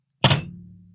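A one-pound piece of physical silver is dropped onto a table, making a single heavy thump. A bright metallic click gives way to a low hum around 140 Hz that fades within about a second.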